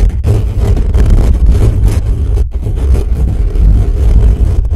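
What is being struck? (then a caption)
Metal mesh microphone grille. Fingertips of both hands quickly and aggressively scratch and rub the bare metal mesh grille of a black condenser microphone with a hollow head. This produces a loud, nearly continuous low, boomy rumble with scratchy rasping texture. There are brief drop-outs near the start and midway.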